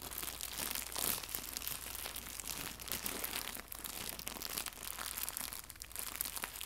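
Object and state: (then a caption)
Crinkled plastic packaging film. Fingertips scrunch and crinkle a small, soft, hollow white translucent plastic pack of packaging film holding a fabric bow. The result is a steady stream of quiet, bright, crisp crackles with very little low end and no ringing after each crinkle.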